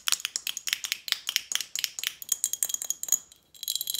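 An apparently empty glass Snapple bottle with a metal cap is tapped quickly with long nails on the glass and the lid. The taps are bright, high-pitched clicks and clinks with a faint ringing tone and almost no low end. They run steadily, pause briefly near the end, then pick up again.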